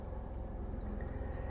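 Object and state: Nothing is struck.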